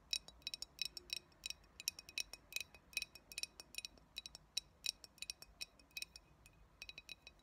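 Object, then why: Glass bottle. Long nails tap along the body and base of a clear glass cold brew coffee bottle with a paper label, hollow and mostly empty. Dozens of quick, irregular taps give bright, high glassy clinks that die away almost instantly, at a quiet level with almost no low end.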